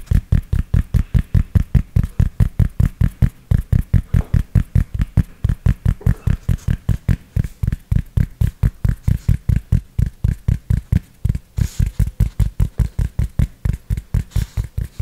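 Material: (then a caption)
Fabric. Fingertips and nails tap and scratch the fabric crown of a grey cloth baseball cap, its hollow crown held in one hand near the mic. About 66 soft, deep, muffled thumps come in a steady but slightly uneven stream over 15 seconds, each one dying away instantly with no ring. A faint bright scratchy rustle sits lightly on top.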